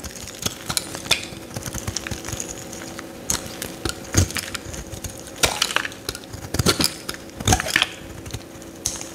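A metal utility knife blade scrapes shavings off a solid yellow Lifebuoy soap bar held in the hand. The result is a dense run of crisp, bright scratching and crackling strokes with very short decays, over a faint steady low hum. Several louder bursts stand out, especially near 4, 5.5 and 7.5 seconds.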